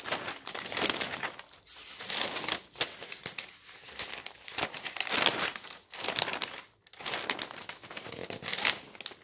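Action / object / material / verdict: scrape / newsprint newspaper sheets / paper / none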